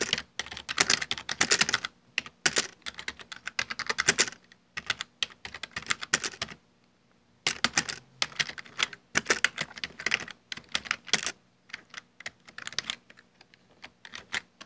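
Fingertips type continuously on a full-size black plastic Dell desktop keyboard with hollow keycaps, producing rapid, bright, dry key clicks with almost no ring. The typing pauses briefly about halfway through, then resumes in fast bursts before thinning out toward the end.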